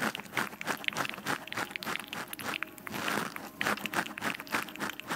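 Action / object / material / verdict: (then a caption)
scrape / foam microphone windscreen / foam / none. Long nails of both hands scratch a black foam windscreen on a microphone, giving close, dry, crunchy scraping strokes. The scraping comes in uneven, rapid bursts with bright, airy texture and little low end.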